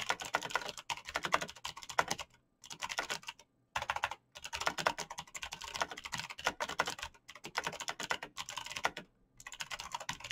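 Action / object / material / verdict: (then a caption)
tap / mechanical computer keyboard with plastic keycaps / plastic / none. Fingertips type rapidly on a black backlit mechanical computer keyboard with clicky green switches and plastic keycaps. Dense bursts of sharp, bright clicks come in quick runs, separated by a few short pauses.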